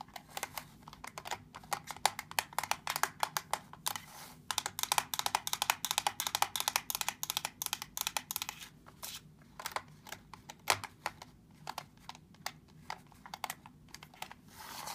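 Fingertips and nails tap and press the rubber buttons of a small, hollow black plastic TV remote control lying on a dark table. Quick, irregular, dry clicks and taps come in dense bursts with brief pauses. Each is bright and very short, with no ringing afterward.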